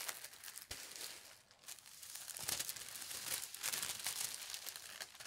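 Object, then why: Thin tissue paper sheet. Long red-painted nails and fingertips rub and smooth flat a single large, thin sheet of white tissue paper printed with green leaves and red berries, lying on a fabric tablecloth. A steady run of bright, high crinkling and soft rustling rises and falls in irregular bursts, with almost no low end.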